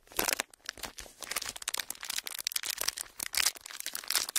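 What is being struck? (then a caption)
Thin ridged plastic packaging. Clear ridged plastic packaging is curled and crinkled by fingertips, producing a dense run of bright, crackling crinkles. Short, sharp bursts rise and fall irregularly, with almost no low end and very little ring after each crackle.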